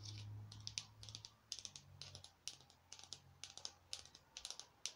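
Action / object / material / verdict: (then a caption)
tap / small glittery foam craft pumpkin / foam / none. A small glittery orange foam craft pumpkin, held in one hand, is rapidly tapped with long nails. Quick, bright, dry clicks come in tight clusters, each dying away almost at once, over a faint low hum.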